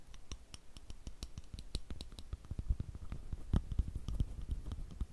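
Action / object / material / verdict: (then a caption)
tap / glass perfume bottle with metal cap / glass, metal / none. Fingertips and nails tap and click on the gold metal cap of a rectangular, partly filled clear glass perfume bottle held close over the microphone. A rapid, uneven run of short, dry taps mixes soft low thumps with bright clicks, each dying away almost instantly. The tapping grows slightly stronger toward the end.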